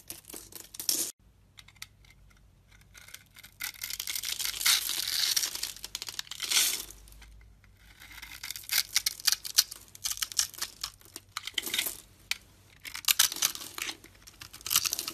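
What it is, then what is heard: Bar soap being scraped. A metal utility knife blade scores a palm-sized solid brown bar of soap, held in the hand, in a grid and then scrapes across it. Bursts of bright, dry, crackling scrapes and crumbling come in uneven runs with short quiet gaps and almost no low end. Small cubes crumble off the bar.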